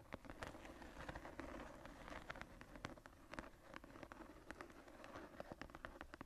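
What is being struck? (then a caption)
Leather journal cover. Long nails and fingertips scratch the floral relief on the tooled brown leather cover of a closed, embossed journal lying on a table. The quiet, dry scratching comes as a steady run of quick, sharp strokes over a soft, rustling texture.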